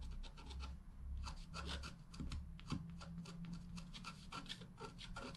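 A wooden stylus scratches short upward strokes into the coating of a flat black wax-coated scratch art card. Quick, irregular dry rasping strokes come in bright bursts over a steady low hum.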